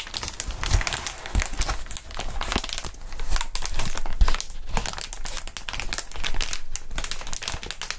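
A large sheet of clear plastic air column cushion wrap with inflated air tubes is held up, bent and squeezed by gloved hands. It gives dense, continuous crinkling and crackling for the full eight seconds, with a few louder low pops and thumps mixed in.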